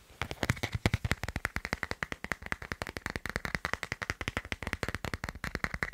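Fingertips and short nails of one hand tap rapidly on the back of a hand-sized smartphone held in the other hand, its matte black hard plastic case marked with a white line drawing. Dozens of short, dry, clicky taps come in a fast, steady stream, each with a soft low thump and a sharp click around 2 kHz that dies away almost instantly.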